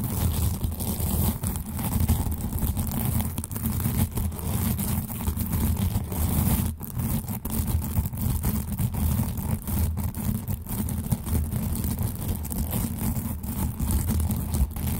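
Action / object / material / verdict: scrape / plastic velcro hair rollers / plastic / none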